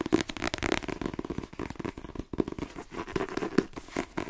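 A paperback novel, "The Twins," a solid block of paper held in one hand, is tapped quickly with the fingertips and nails of the other hand. The result is a fast, uneven flurry of dry, papery taps with a low-mid body around 320 Hz and a light crinkly edge. Each tap dies almost instantly.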